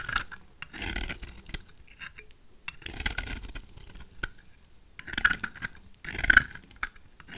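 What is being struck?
Bar of soap shaved with a knife.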